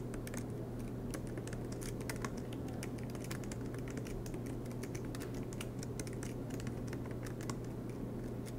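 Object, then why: Laptop keyboard with plastic keys. Fingertips tap steadily across the black plastic keys of an aluminum MacBook Pro laptop. The result is a continuous run of quick, light clicks with bright ticks, laid over a constant low hum.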